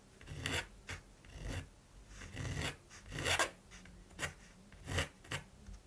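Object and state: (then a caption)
Primed canvas. A mechanical pencil rubs and scratches lines across the surface of a large, flat primed canvas. Dry, raspy strokes come in separate bursts with short pauses between them, each carrying a bright scratchy hiss over a soft low rumble of contact.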